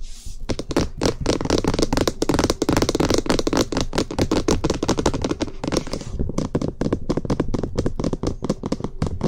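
Fingertips and short nails tap quickly and continuously on the top of a white, hollow, box-shaped plastic SR3D binaural microphone body. The taps are dense, dry, and clicky, each dying out almost instantly, with a hollow low-mid knock around 340 Hz. The tapping is fast and steady for the whole clip, with only brief dips in level.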